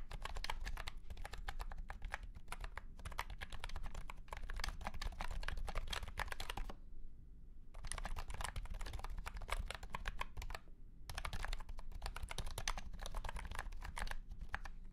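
Fingertips of both hands type quickly on a white and pink cat-shaped keyboard with round plastic keycaps set in a hollow plastic case. The result is a dense stream of light, clacky keystrokes over a steady low rumble, with brief pauses around 7 and 11 seconds before the typing resumes.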